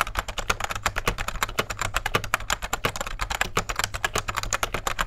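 Fingertips of both hands type rapidly on a beige full-size 1990s plastic computer keyboard with rubber dome keys and a hollow case, resting on a desk. A dense stream of short, dry, clacky key taps with bright edges runs throughout, over a faint steady low hum.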